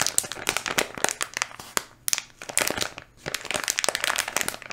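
A full, small red and blue flexible plastic candy wrapper bag is held in both hands close to the mic while fingertips squeeze and rub it. The result is dense, bright crinkling with sharp, quick crackles, easing into a brief lull before picking up again.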